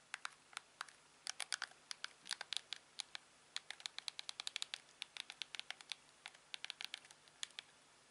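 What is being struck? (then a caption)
Plastic TV remote control. A hand-sized, hollow, glossy black plastic LG TV remote with a scroll wheel and buttons is held in one hand while the thumb and fingertips press its buttons. The result is a long run of quick, bright, dry clicks that come singly and in rapid clusters. The clicks die away instantly over a quiet background.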